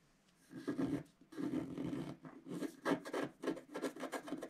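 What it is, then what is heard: Scratch-art card being scratched. A pointed wooden stylus scratches the black coating off a flat, solid, notebook-sized scratch-art board lying on a table, revealing a colourful flower picture beneath. Short, dry rasping scrapes come in bursts after a quiet start. The strokes are separated by brief pauses and carry a grainy texture centred in the low-mid range.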